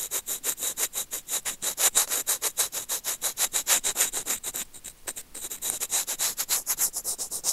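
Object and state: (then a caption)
Plastic earphone microphone scratched with tweezers. Curved steel tweezers scratch and rub back and forth along a small, hollow white plastic earphone remote and microphone held in the fingers. The result is a rapid, steady run of bright, hissy scraping strokes, about three per second, with almost no low end. The strokes briefly thin out near the five-second mark before resuming.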